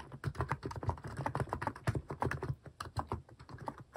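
Fingertips type steadily on a compact mechanical keyboard with a white plastic case and cat-themed plastic keycaps. The rapid, dense key taps are short and clacky, with a deep low-pitched thock under each press and little high-end brightness.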